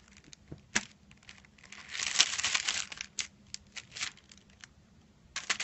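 Fingertips tap and rub across a flat rectangular package wrapped in crinkled silver aluminium foil, lying on a white cloth. Sharp, bright crinkling taps are scattered irregularly, with a louder sustained rubbing crinkle partway through and a quick cluster of taps at the end.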